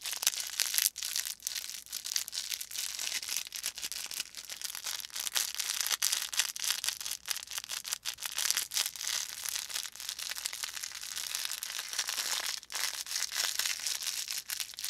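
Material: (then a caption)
Felt. A small stuffed felt volcano plush with a faux fur top and crinkly filling is squeezed and crinkled between thumbs and fingers. It gives a steady stream of dense, bright, crackling crinkles with almost no low end, holding at a fairly even level throughout.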